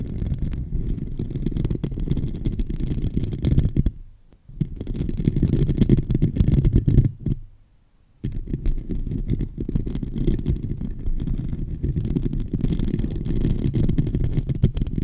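Both hands scratch the hollow metal mesh grille of a silver microphone with fingertips and short nails. The result is a dense, muffled, low rumbling scratch with almost nothing bright, broken by two brief near-silent pauses around 4 and 7.5 to 8 seconds before it resumes steadily.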